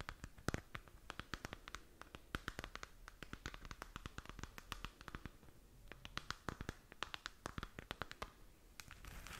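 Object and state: Plastic moon lamp.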